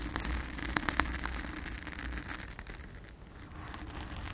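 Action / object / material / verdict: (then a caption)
scrape / foam microphone windscreen / foam / none. Long acrylic nails scratch and rub a soft, porous, round blue foam windscreen over a microphone with both hands. The result is a dense, crackly, irregular scratching with a steady low rumble and a few sharper clicks near the start. Toward the end it thins to a quieter, softer rustle.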